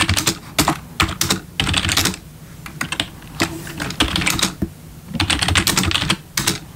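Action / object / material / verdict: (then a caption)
tap / plastic membrane keyboard / plastic / none. Bare fingertips of both hands type on a full-size black plastic membrane gaming keyboard with RGB backlit keys resting on a wooden desk. Bursts of rapid, bright key taps with a soft low thump under each press are separated by short quiet pauses.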